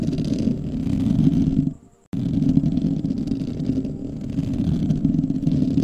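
Fingertips and short nails of both hands scratch the hollow metal mesh grille of a large black microphone, making a dense, rough, low-pitched scraping rustle. The scratching cuts out to near silence for about a quarter second just before the two-second mark, then resumes just as thick and steady until the end.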